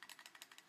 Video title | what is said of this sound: Quick Airsoft Reviews - Walther CP99 Compact | the slide actually moving like it's not moving back and forward it's actually moving like this side to side